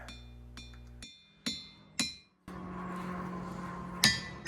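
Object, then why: Stone boulder struck with a hammer. A boulder in the boulder field at Ringing Rocks State Park is struck repeatedly with a hammer, each hit giving a bright, bell-like metallic ring that decays quickly. The strikes come at uneven intervals, with a steady low background noise between the later hits.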